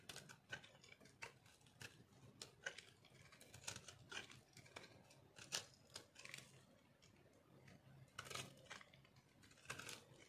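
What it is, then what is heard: Dry soap bar, dry and crumbly. A metal knife shaves thin layers off a solid, rectangular, speckled dry soap bar held in the hand. The result is a quick series of dry, crunchy scraping clicks, bright and crisp with little low end, each dying away almost at once.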